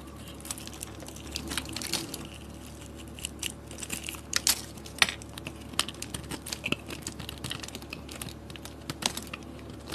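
A solid white, hand-sized rectangular bar of soap is held in the palm and cut or scraped with a metal blade, breaking off thin curls and chunks. Many short, dry, bright scraping and crunching clicks follow one another over a low steady hum, with a few sharper snaps standing out.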